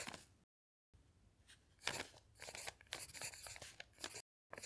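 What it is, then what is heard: Pencil writing on a paper notepad. A pencil scratches across a thick notepad of lined paper sheets while writing, as the other hand's fingertip rests on a dictionary page. Quiet, bright, papery scratching comes in uneven bursts and short strokes, broken by two brief silences.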